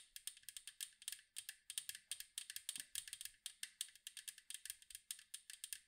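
Rapid fingernail tapping on the striped side wall of a large, round, hollow metal cookie tin produces a quick run of about 39 light, bright clicks over roughly six seconds. Each tap is sharp and crisp with a very short metallic ring, and almost no low end.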